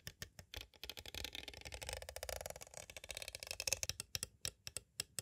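Thin green twisted tools tap and trace over both sides of a clear, hollow plastic cassette case with a paper insert. Crisp, bright clicks with almost no ring open and close the clip, while the middle turns into a dense, scratchy flurry of rapid taps and tracing. The overall level stays quiet.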